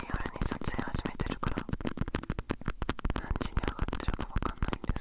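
Fingertips and nails scratch and tap the printed cat-pattern surface of a small, hollow gamaguchi-style coin purse made of fabric or vinyl with a metal clasp frame, held close to the recorder. Rapid, irregular taps and scratchy rustles blend together, with dull, low-heavy thumps that stop short and don't ring.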